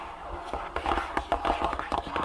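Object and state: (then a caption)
Cardboard box. Fingertips and long nails tap on the top of a long, closed, printed cardboard insole box lying on a table. The taps come in quick, uneven succession, each a dry, hollow knock with a mid-range tone that fades quickly against a faint low hum.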